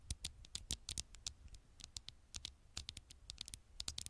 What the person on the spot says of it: tiny taps on the screen